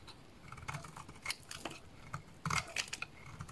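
A solid lilac bar of soap, held in the hands, is shaved with a small blade into curls. Quiet, crisp scraping strokes with bright, dry edges come in quick uneven bursts, with a thin low thud under some cuts and almost no ring after each one.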